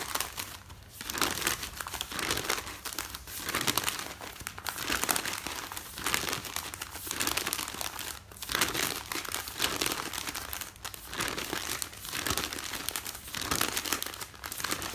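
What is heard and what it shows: Fingertips with dark-painted nails fold, crumple and rub the top sheets of a folded stack of thin newsprint newspaper lying solid and flat on a bed. The sound is a continuous, bright crinkling and rustling in repeated bursts, with short gaps between handfuls of paper and almost no low end.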